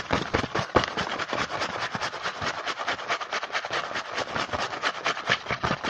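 Fingertips tap and scratch quickly on the printed front of a small cardboard Hanuta snack box held in the hand. The result is a dense, fast run of dry, papery taps and scratchy brushing, with short bright clicks and no lingering ring.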